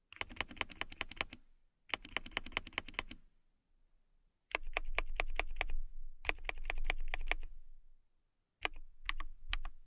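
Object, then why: Acrylic mechanical keyboard. Fingertips and long nails type on a transparent acrylic mechanical keyboard with a clear acrylic case and clear plastic keycaps. Quick, crisp clicks and clacks come in irregular bursts separated by short pauses, with a denser, louder stretch in the middle. Each keystroke is sharp and bright, with almost no ring.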